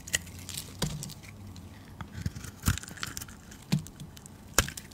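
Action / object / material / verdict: scrape / bar of soap / soap / none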